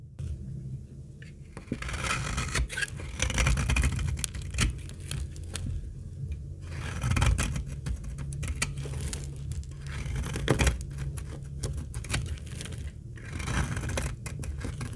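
A utility blade shaves curls from the edge of a very old, dry, translucent amber laundry soap bar held in the hand. Repeated crisp, papery scraping and crackling strokes come through over a steady low hum. The shaving is continuous and rises and falls in loudness throughout.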